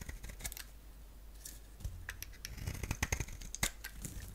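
A palm-sized, solid rectangular bar of soap with a black shell and green-striped interior is shaved into thin strands with a box-cutter blade. Quiet, soft scraping gives way to a quickening run of crisp, dry clicks and snaps, with a bright edge around 2 kHz and a low thud under the sharper cuts. Each sound stops almost at once.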